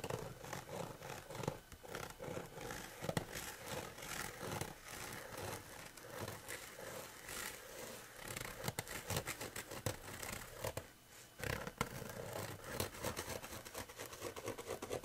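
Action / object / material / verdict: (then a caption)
scrape / coarse woven fabric / fabric / none. Fingernails scratch and pinch at coarse woven fabric lying flat, making a continuous rough, dry scraping with brushy texture across a wide range up into the bright highs. The rasping comes in dense, uneven strokes with a few sharper louder scratches and a brief quieter gap near the end.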